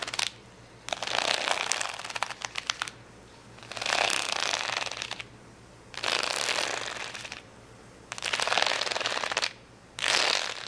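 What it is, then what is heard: Plastic rhinestone sticker sheet. Fingernails scratch quickly across a large plastic rhinestone sticker sheet of rainbow acrylic gems lying flat. The result is bursts of bright, crackly, rattling scratching, each lasting about a second and a half, separated by short quiet pauses.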